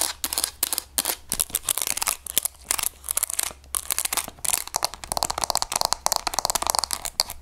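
A hollow grey plastic graphing calculator, held in the hands, has its textured plastic back and its keys scratched and tapped with long nails. The result is fast, crisp, bright clicking and scratching that stops dead after each stroke, over a faint, steady low hum.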